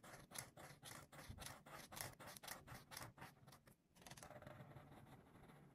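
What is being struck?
Felt-tip marker on a paper page.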